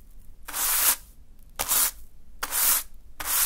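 A small natural-fiber hand broom sweeps through a small heap of fine green sand on a dark surface. Four separate brushing strokes are heard, each a bright, hissy rub of bristles through the sand that swells and fades with quiet gaps between.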